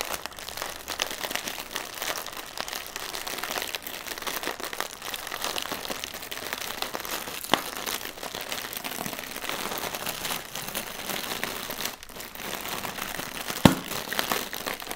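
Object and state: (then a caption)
Plastic air pillow packaging. A single inflated plastic air pillow used as packaging, hollow and printed in green, is tapped and scratched with fingertips and nails. The result is a steady, dense crinkling and crackling with bright, scratchy texture throughout. Two sharper taps stand out near the middle and near the end.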